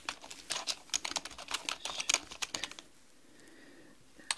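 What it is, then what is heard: Plastic computer keyboard. Long manicured nails and fingertips type rapidly on a black mechanical computer keyboard with plastic keys, making a quick run of bright, dry clicking taps. The typing stops partway through, leaving near silence before one last sharp tap at the end.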